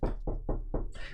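Knuckles knock on a wooden table as a 'knock on wood' gesture, giving five quick, dull, low thuds that stop almost at once, with a little brighter rattle on the last one.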